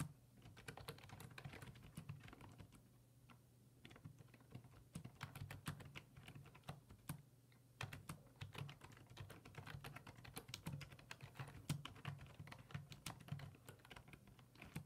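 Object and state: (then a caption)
Plastic computer keyboard being typed on. Fingertips type on the hollow plastic keys of a black plastic full-size computer keyboard resting on a wooden desk. Rapid, repeated clicky taps come in bursts, with brief quieter lulls around 3 and 7 seconds, over a steady low hum.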